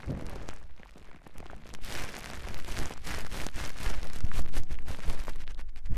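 Fingertips and long nails of both hands scratch and tap lightly across clear plastic cling film bunched into a fist-sized round muff over a Tascam microphone. The result is a dense, uneven stream of crinkly crackles with soft, boomy low thumps, growing louder over the second half.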